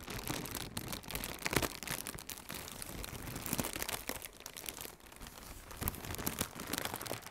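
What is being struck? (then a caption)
Plastic air cushion packaging. Fingertips with red-painted nails squeeze and crinkle a hollow strip of blue plastic air cushion packaging. The result is a continuous, dense crackle of bright, crisp crinkling, with a few louder crunchy bursts along the way.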